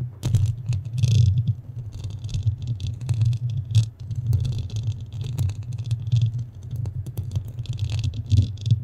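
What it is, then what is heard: Foam microphone windscreen being scratched. Long nails on both hands scratch a large black foam windscreen that covers a standing microphone, its soft porous foam sitting over a hollow mic head. The scratching makes a dense, continuous low rumble centered around 125 Hz, with faint bright, crackly rasps riding on top. It swells and fades in uneven waves throughout.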